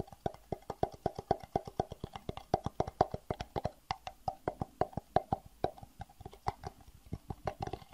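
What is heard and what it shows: A small, empty, hollow, clear plastic rectangular box is held and tapped with the fingertips in quick, uneven runs of light taps. Each tap is a short, dry, hollow plop with a resonant tone around 730 Hz and almost no ring.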